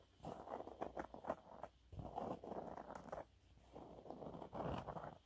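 Fingernails scratch across a yellow waffle-textured cleaning cloth held upright, making soft, dry, raspy scratching in uneven bursts with brief quiet pauses between them. The sound is quiet and mid-pitched, with fine crackly texture and no ringing.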